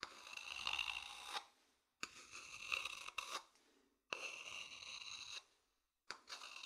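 A medium, hollow, polished wooden bowl is held empty in the hand and scratched along its outer surface with a thin wooden stick. Long, bright, rasping scrapes with a resonant ring near 2.7 kHz come in repeated strokes, separated by short silent pauses.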